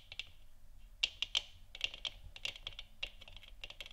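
Long nails tap the top of a large, hollow, 3D-printed plastic moon lamp sphere lit orange. The result is a quick, irregular run of sharp, bright clicks centered around 2.8 kHz, each dying away almost instantly over a faint low background hum.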